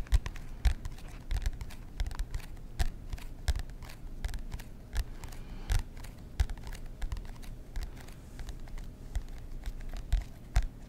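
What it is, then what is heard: Cardboard composition notebook. A black-and-white marbled composition notebook with a hard cardboard cover is held upright in both hands while fingertips and short nails tap and scratch the cover. It gives an irregular run of dull, low thumps and brief dry scratchy clicks, each dying away almost at once over a faint rustling bed.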